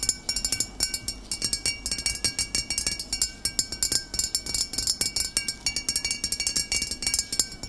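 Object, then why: Glass bottle of vinegar with metal cap. Fingernails of both hands tap rapidly on the glass shoulder and neck of a full glass vinegar bottle of amber liquid with a metal cap. The taps are quick, bright clicks that die away almost at once, with faint ringing tones held underneath and very little low end.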